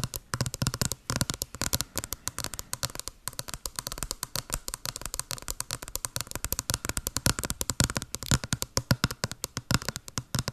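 Long blue acrylic nails tap rapidly on a small, hollow white cardboard box with a blue pattern, held over the mic. The result is a steady stream of quick, dry taps, each with a hollow low thump and a bright clicky edge that dies away almost instantly.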